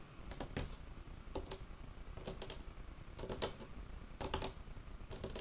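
Fingertips and short nails of one hand tap a large, solid, dark wood tabletop in short, irregular bursts of quick, dry clicks. Each cluster has a faint woody tone around 440 Hz and dies away almost instantly.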